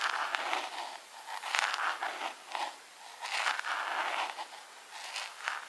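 Long pink acrylic nails tap on a small, hollow, clear plastic jar decorated with rhinestones. The result is a quick, uneven run of light, bright clicks with a crackly, scraping texture and a short ring.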